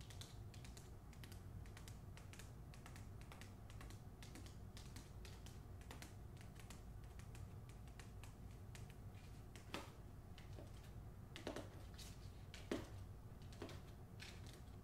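Long nails tap and scratch on the back cover of a closed hardcover copy of "The Hacienda" with a paper dust jacket, and then the book is tilted in hand. Quick, dry, clicky taps and soft scratching run steadily over a low background hum, with a few sharper, louder taps near the end.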